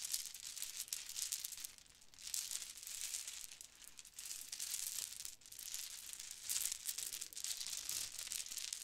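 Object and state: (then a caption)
Plastic bead necklaces. Several black, gold and turquoise plastic Mardi Gras bead necklaces are held up and shaken while fingers rub the small hollow beads. The result is a continuous, quiet, bright rattling and crinkling, almost entirely high in pitch with very little low end. It swells and dips in waves throughout.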